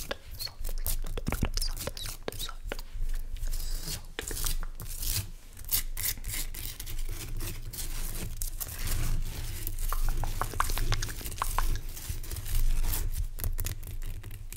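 Fingernails scratch and tap the rough surface of a large, pale, solid rock salt lamp crystal. Dense, crisp scratching and quick tapping clicks run throughout, with bright edges over a steady low hum around 78 Hz.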